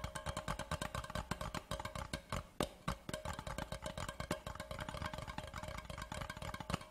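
A large, empty, hollow cardboard Laphroaig whisky gift tube lies on its side and is tapped rapidly along its body with the fingertips of both hands. The result is a fast, continuous run of dull, hollow thumps, heavy in the low end, with a steady resonant tone near 600 Hz. Each tap dies away almost at once.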